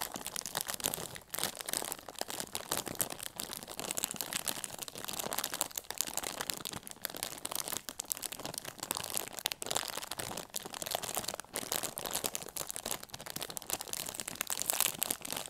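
A small, full, sealed Sour Patch Kids candy bag of crinkly plastic film is held in both hands with long nails and squeezed and rubbed. It produces dense, continuous crinkling and crackling that is bright and mostly high-pitched, with very little low end, for the whole clip.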